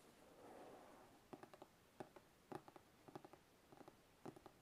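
Fingertips tap on the top edge of the lid of a large, glossy white cardboard gift box about the size of a shoebox, which is held in one hand and sounds hollow with the lid on. After a soft, breathy rustle at the start, light, dry taps come in quick little clusters with almost no ring. The taps sound muted and mid-pitched over a quiet background.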